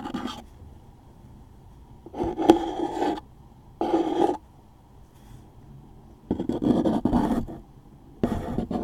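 A wooden toothpick scratches the top surface and label of a closed, hollow, medium-size cardboard tissue box held in one hand. Five bursts of dry, rasping scratching, focused in the mid range, are separated by quiet pauses over a faint steady hiss.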